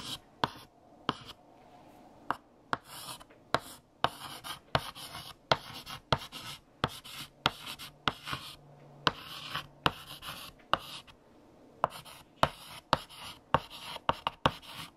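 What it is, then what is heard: Chalk writing on a blackboard. A hand writes on a large, flat black chalkboard with a light green chalk stick. About 22 sharp chalk taps stand out among bursts of bright, gritty scratching strokes. Short quiet pauses separate the strokes.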